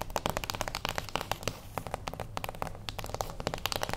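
A small, closed beige cardboard gift box stands on its long edge on a wooden table while the long acrylic nails of both hands tap its top edge. About 26 quick, dry, crisp taps sound in an uneven rhythm, each with a hollow papery knock centered near 570 Hz and a bright clicky edge, dying away almost instantly.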